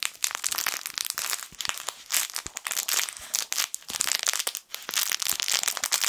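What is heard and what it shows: A small yellow sun-face plush fabric crinkle toy is squeezed and crumpled with the fingertips of both hands. It makes a dense, continuous run of bright, crisp crackles, with almost no low end and brief dips between squeezes.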